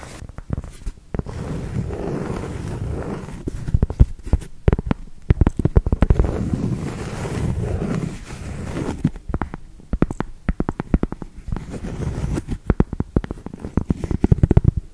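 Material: Cork.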